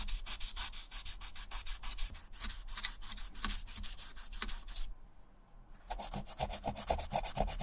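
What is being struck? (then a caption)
Suede shoe upper. A small dark sanding block or suede eraser is rubbed firmly back and forth over the dry grey suede upper of an Adidas running shoe, near the sole and heel, while the shoe is held in bare hands. Rapid, rhythmic, dry scratchy strokes with a bright hiss continue steadily, fade briefly near the five-second mark, then resume as quicker, tighter strokes.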